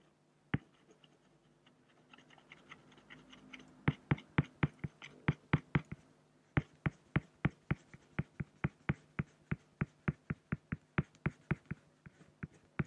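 A pen scratches hatching strokes at the right edge of a drawing on a large, flat, solid acrylic glass sheet. After a single sharp tick and a stretch of faint, soft scratching, a long, regular run of crisp, dry strokes follows, each ending instantly with almost no ring. A steady low hum sits beneath the strokes throughout.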